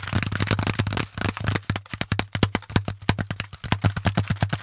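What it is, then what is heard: Corrugated cardboard packaging insert. Fingertips scratch and tap the flat panel of a brown corrugated cardboard packaging insert with hollow compartments. A dense, crackly scratching gives way to a rapid run of short, dry taps with a hollow low thump and bright papery edges, over a steady low hum.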